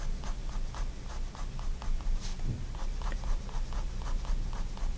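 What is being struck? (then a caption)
Paper sketchbook page under a fine-tip pen. A fine-tip pigment liner pen draws continuous line strokes on a page of a spiral-bound white paper sketchbook lying flat on a wooden desk. Repeated short, dry scratches of the nib on paper come in a steady rhythm over a low, constant rumble.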